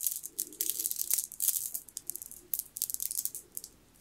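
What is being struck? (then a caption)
Strand of stone beads. A long strand of solid round green jade-like beads on a green jade bead necklace is held up, handled and shaken in the hand, so the beads clack against each other. The result is a quick, irregular run of sharp, bright clicks and rattles with almost no low end, each dying away almost instantly.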